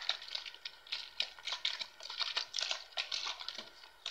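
Fingers squeeze and crinkle a clear, hollow PET plastic water bottle with crumpled walls that appears mostly empty, and tap it with fingertips and nails. The result is a quick, steady run of crisp, bright crackles and dry clicks with almost no low end, each snap dying away almost instantly.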